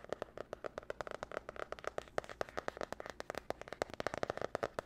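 Long nails quickly tap and scratch across the cover and spiral edge of a glossy marbled spiral notebook with a cardboard cover. About 33 sharp, dry clicks come in a fast, uneven run, each dying out almost at once, with a midrange knock near 600 Hz and light scratchy texture between them.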